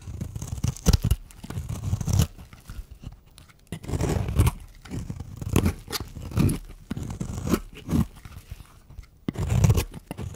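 A small solid pink bar of soap, held in one hand, is scraped with a metal blade, shaving flakes onto a bed of soap shavings. Repeated rough, crunchy scraping strokes rise and fall in bursts, with dull low body and short bright flicks. The bar turns rounder and more translucent as it is shaved down.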